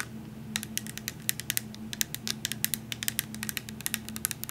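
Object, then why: Glass syrup bottle full of liquid. A tall glass vanilla coffee syrup bottle with a paper label, full of liquid, is tapped rapidly with long nails while held. The result is a quick series of short, bright clicks that stop dead with no ring, over a faint steady low hum.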